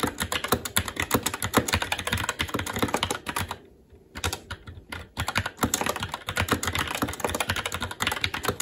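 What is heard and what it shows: Fingertips of both hands type continuously on a SteelSeries Apex 7 TKL mechanical keyboard with Red switches, black plastic keycaps on a metal plate, and a hollow RGB-backlit case resting on a desk. Dense, rapid clacks with bright, crisp tops and a thocky low body fill the clip. The typing thins to a brief near-pause just before the middle, then resumes at full pace.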